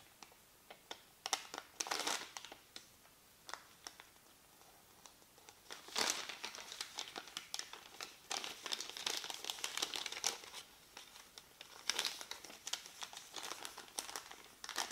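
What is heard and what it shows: A small, thin white paper receipt is folded and crinkled between the fingertips of both hands. Quick, bright crackles come in bursts separated by quiet pauses, with dense rustling stretches around the middle and near the end. The sound stays crisp and high with almost no low end.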